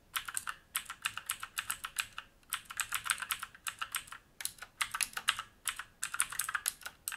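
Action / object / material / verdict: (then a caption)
tap / mechanical keyboard with plastic keycaps and metal top plate / plastic / none. Fingertips type on a black mechanical keyboard with plastic keycaps and a metal top plate, resting on a wooden desk. Quick bursts of crisp, bright clacks come in rapid runs with brief pauses between them. Each keystroke is dry and short, with almost no low thump or ring.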